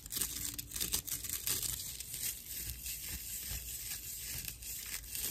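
A dry natural loofah slab with a cord loop is scratched with the long nails and fingertips of both hands. The result is a steady, rough, crinkly scratching with a bright, airy hiss and a faint low rumble underneath.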